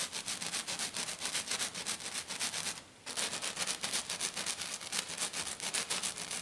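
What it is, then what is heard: Glitter-covered sheet. Both hands with medium-length black-painted nails scratch and tap fast on a flat silver glitter-covered sheet lying on a table. Quick, bright, gritty rasping strokes repeat at roughly four per second. They pause briefly near the middle, then resume just as fast.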